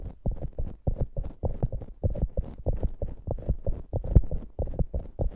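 Long nails scratch and press the top of a soft, solid polyurethane foam squishy hamburger toy. A quick, uneven run of muffled, low thuds and dull scrapes follows, each dying away almost at once with no ring and almost nothing in the high end.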